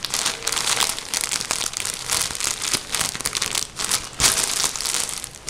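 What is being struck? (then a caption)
Soft plastic bag filled with cotton wool. Both hands crumple and squeeze a full, blue-and-white printed soft plastic bag of cotton wool with their fingertips and nails. The result is a steady, bright crinkling and crackling, mostly high with almost no low end, that swells and dips in short bursts with a sharper crunch near the end.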